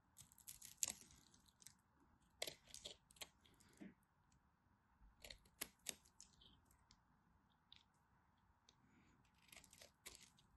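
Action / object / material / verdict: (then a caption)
scrape / bar of soap cut with a blade / soap / none. A craft knife cuts and scrapes flakes from a partly carved, dry teal and white striped bar soap held in hand. Crisp, bright scraping and crunching bursts come in short clustered strokes with brief quiet gaps, each dying away almost instantly, over a faint steady hum.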